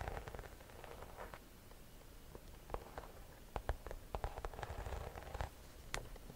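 A hollow cream croc-embossed leather or faux leather shoulder bag is held in both hands while long nails scratch and tap across its front. Soft, muffled scratching with a low rumble is broken by short, sharp clicking taps that come more often toward the end. It stays quiet and close throughout.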